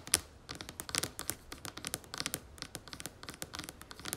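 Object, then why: Plastic cream jar lid. Long nails tap and scratch the red lid of a plastic cream jar held in both hands, making about two dozen quick, bright clicks and scrapes. Each short, dry tick dies away almost instantly, with little low-end weight beneath the crisp, high texture.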